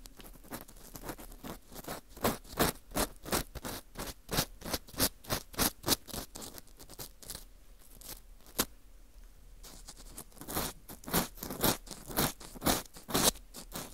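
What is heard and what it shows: An orange plastic earpick scrapes inside the center hole of a dry, porous ring-shaped slice of dried wheat gluten fu. Dozens of short, crisp, bright scratching strokes sound in an uneven rhythm, softening to a faint rustle with one sharp click in the middle before the brisk scraping resumes.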